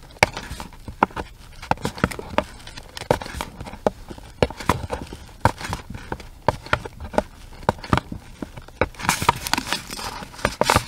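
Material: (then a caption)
Cardboard. Long red acrylic nails tap and scratch a small, hollow pink cardboard product box with a round window, held in the hands. Sharp, dry, irregular clicks with almost no ring, a hollow papery knock around the mid-range, and quick bright scratching bursts that grow denser toward the end.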